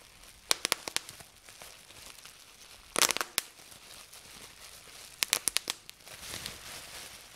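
Fingertips pinch and pop individual air bubbles on a clear plastic bubble wrap sheet resting on a table. About 15 sharp, bright pops with almost no ring come in three bursts near the start, middle and end, over faint crinkling of the plastic.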